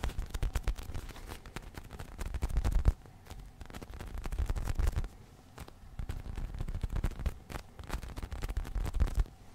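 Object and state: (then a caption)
Foam squishy toy. A small, soft, solid polyurethane foam squishy unicorn toy is held in the hands while fingertips scratch, tap and squeeze it. The result is a dense, irregular run of short, dull, low thumps and crackly scratches that come in bursts, separated by brief quieter gaps.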